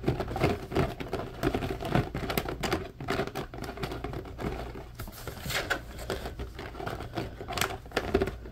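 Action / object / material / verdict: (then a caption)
scrape / plastic mesh basket / plastic / none. An empty, hollow, medium-sized blue plastic grid basket is scratched and tapped along its grid bars with fingertips and nails. The result is a dense, uneven run of quick clicks, taps and scratchy patter with a hollow plastic ring around 390 Hz. Each sound dies away almost at once, with a few brighter, sharper scrapes standing out.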